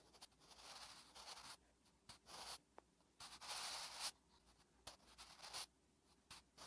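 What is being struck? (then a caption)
Graphite pencil on a thin paper notebook page. A wooden graphite pencil, held in the fingertips, writes Korean letters on a thin lined paper notebook page resting on a flat surface. The graphite makes eleven bursts of dry, bright scratching across the paper, with short quiet pauses between strokes.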